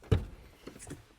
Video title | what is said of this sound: Is This the Best Campervan Alternative to the VW Transporter? | I'm tapping that and that sounds metallic but that is plastic